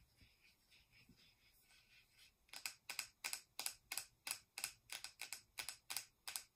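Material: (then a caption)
Plastic. Long acrylic nails tap and click on the sides and screw lid of a small, round, hollow-looking plastic cosmetic powder jar with a metallic gold-silver finish. It starts with quiet, soft tapping, then after about two and a half seconds it becomes a steady run of sharp, bright, high-pitched clicks that stop quickly with almost no ring.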